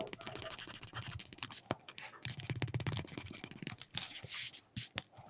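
A flat, thin, solid piece of red-dyed veg-tan leather lies on a cutting mat while its edge is rubbed back and forth with a wooden burnishing slicker held in the fingers. Quick, dense rasping strokes give a bright, scratchy friction over a low rumbling base, with a few sharper clicks and brief pauses between passes.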